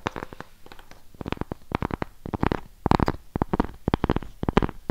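Long pink nails tap and scratch the face of a round, flat, solid cork coaster held in both hands in front of a microphone. About two dozen short, dry, muffled taps come in quick irregular bursts, each dying away almost instantly, with a low, thumpy body and light scratchy texture between them.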